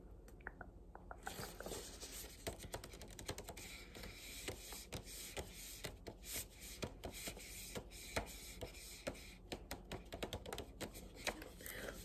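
Fingers tap quickly on the cover of the hardcover book "Behind You Is the Sea." Many short, dry taps fall in an irregular rhythm at a soft level, with a steady low hum underneath.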